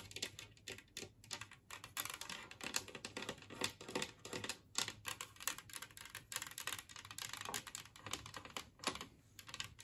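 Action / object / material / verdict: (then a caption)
tap / ceramic tree-shaped plate / ceramic / none. Long nails tap quickly with both hands on the glazed surface of a large, flat, empty green ceramic plate shaped like a Christmas tree. The result is a steady, dense stream of crisp, bright clicks with very short ring and almost no low end, close to the sound of fast typing.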